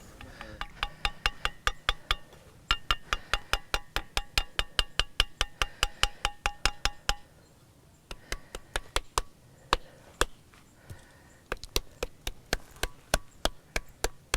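Flat-surfaced andesite stone slabs at Gunung Padang, known as "sound rock" or "music rock" and possibly ringing because of iron in them, are tapped by hand across a group of three or four stones. The taps come as a quick, irregular run of sharp, woody clicks, each with a brief bright ring near 3 kHz. After a short pause around the middle, the taps resume more sparsely.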